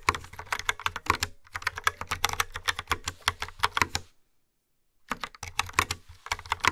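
Fast typing with long nails and fingertips on a hollow, yellow-framed plastic wireless keyboard with dark brown round typewriter-style keycaps, resting on a wooden table. Rapid, bright, clicky key taps with short dry decays run for about four seconds, stop for about a second of silence, then resume.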